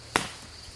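A single sharp knock on the upper trunk of a dead white oak slated for removal gives a short, bright crack that fades within a fraction of a second. Up high the trunk sounds solid, unlike its hollow base.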